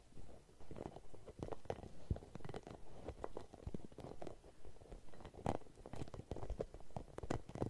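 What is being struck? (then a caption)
Hollow rubber spiky massage ball. A red, translucent, hollow rubber spiky massage ball is held in both hands and scratched and squeezed with long nails close to the mic. The result is a quiet, dull run of rapid, irregular scratchy taps and soft rubbery squeaks, mostly low in pitch with no bright edge.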